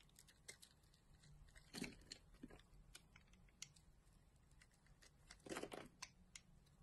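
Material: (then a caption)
Soap. A utility knife blade scrapes and slices the cut surface of a solid green bar of soap held in the palm, peeling off shavings. A quiet run of crisp, bright little clicks and scratches swells into two louder, crunchier cutting bursts before and after the middle of the clip.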